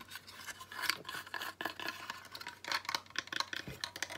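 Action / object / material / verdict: scrape / small driftwood stick ornament / wood / none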